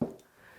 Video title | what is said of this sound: Mixed Media Tutorial with Sandra Duran Wilson - Practice Your Scales | so you can hear it's like a hollow core door